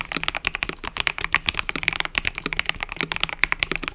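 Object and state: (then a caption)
Mechanical keyboard with plastic keycaps. Fingertips type continuously on a mechanical keyboard with cream and purple plastic keycaps. Rapid, bright, dry clacks follow one another with almost no ring, centered around 2 kHz with little low end.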